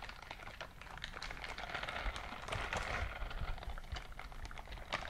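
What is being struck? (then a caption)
Silicone scrubbing glove. A gloved hand clenches and opens inside a white silicone dishwashing glove, so its silicone bristles rub against each other. The result is a steady, dense, crackling rustle of many quick little squeaks and ticks, bright in the mids, with a low rumble underneath.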